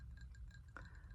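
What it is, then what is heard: Ceramic bowl. A ceramic bowl used for eating cereal is tapped, giving light, soft clinks with a quick bright ring. One clearer tap stands out over a steady low background hum.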